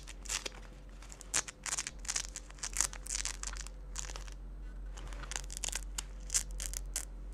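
Fingers with long nails repeatedly pull apart and press together the dark hook-and-loop velcro patches on the cuff strap of a pale yellow synthetic fabric jacket held on a wooden table. Bright, rasping tearing bursts alternate with softer crinkling of the fabric over a low steady hum.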